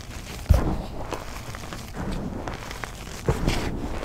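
Bare hands squeeze, crush and rub loose dry gym chalk (gypsum) powder dyed neon green, with small crumbs, in a container. Soft, low crunching and gritty rustling run throughout, with two firmer muffled crunches standing out near the start and toward the end.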